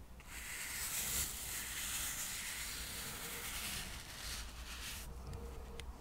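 A soft paintbrush is brushed across the surface of a small, solid stack of square cork coasters held in the fingers. The result is a steady, airy brushing hiss that is bright in the high range over a faint low rumble. The highs thin out briefly near the end before a few light strokes.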